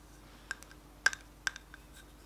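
Fingertips and short nails tap the closed lid of a small, round, hollow black plastic NYX HD powder compact held in both hands. Three sharp, dry clicks with a clear tone around 1.6 kHz and a bright top stand out, each followed by softer ticks, over a faint steady hum. Each tap stops almost instantly with no ring.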